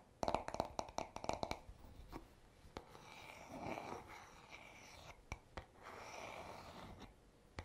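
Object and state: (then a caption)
Wooden hairbrush back, tapped and scratched. Short fingernails tap the smooth, solid wooden back of a paddle hairbrush in a quick run of dry, clicky knocks with a slight hollow tone around 650 Hz. Then they scratch across it in two longer stretches of soft, airy rasping, with a few more sharp isolated taps between them.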